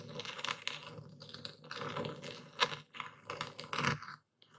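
A dark speckled stone pestle presses and grinds into coarse white Epsom salt crystals in a wooden bowl held steady by a hand. Dense, bright, gritty crackling and crunching come in uneven bursts, with a sharp crunch near the middle. The sound drops to near silence briefly before a final scrape.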